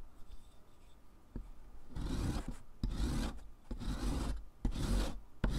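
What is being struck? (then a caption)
Sidewalk chalk stick on a metal rasp. A solid stick of pink sidewalk chalk is grated by hand over the metal rasp surface of a purple foot file, with pink powder piling up on cardboard below. After a faint tap, four rough rasping strokes follow, each a dry, bright scratching burst with sharp ticks at its edges, before the grater is lifted at the end.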